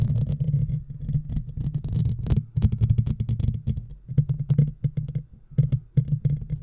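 Long natural fingernails of both hands scratch across the black, round, woven steel mesh grille of a hollow, handheld-size microphone. Close up, this makes a heavy, low rumbling hum with dense, crackly scratching. The scratching comes in rapid bursts separated by brief lulls.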